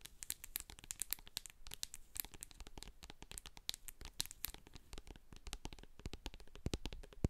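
Long acrylic nails tap and scratch the sides and label of a medium hand-held plastic jar of hair co-wash with a silver metal lid, full of white cream. The result is a dense, rapid stream of short, dry, bright clicks and crinkly scratching with almost no ring, over a faint low rumble.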